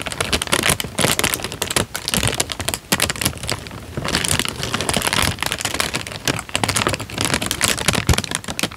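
A thin, light-brown creased paper sheet is held in both hands and crinkled by the fingertips. This makes a dense, bright crackling that rises and falls in uneven bursts, with short sharp snaps over a soft rustle.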